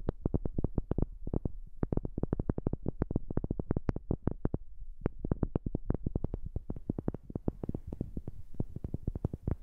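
A wooden object is tapped rapidly with a new microphone about 66 times, in quick, steady runs with a brief pause near the middle. Each tap is short and dry with no ring, weighted toward low, hollow tones, and the later taps carry a faint brighter edge.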